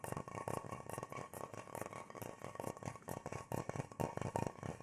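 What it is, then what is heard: Wooden bowl. An irregular natural wooden bowl, hollow and empty and held in both hands, is tapped and scratched on its inside and rim with the fingertips. A quick run of soft, dry knocks and scratchy rustles follows, each dying away almost instantly. The tone is hollow and woody, centred low around 150 Hz.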